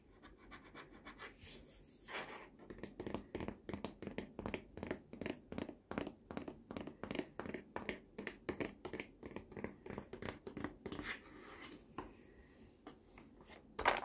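Fingertips and nails tap and scratch the large, hollow, molded green plastic tray surface of a baby walker. A steady run of dozens of quick, dry taps, mixed with brief scratchy swipes, gives short hollow plastic knocks with little ring. A louder, brighter knock lands at the very end.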